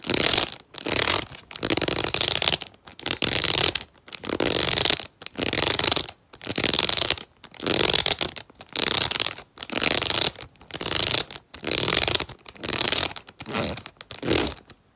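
Fingernails scratch and tap along clear rigid plastic blister packaging with a cardboard backing that holds a black tail comb. Short bursts of bright, hissy scratching repeat in a steady rhythm, separated by brief silences, with almost no low end.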